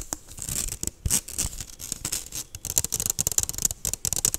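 Long nails tap and scratch quickly on an empty, medium stainless steel wire-mesh kitchen strainer with a handle and a hollow dome, held over the microphone. The result is a rapid run of bright, crisp ticks and raspy scratches, concentrated high in the treble, with almost no ring after each hit.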